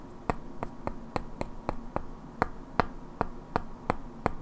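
Two identical hand-sized solid wooden cubes with black painted characters are held in both hands and knocked and clicked against each other, while long natural nails also tap their edges. Thirteen short, dry wooden clicks ring with a hollow mid-pitched knock, spaced at a steady, unhurried pace over a quiet, low background hum.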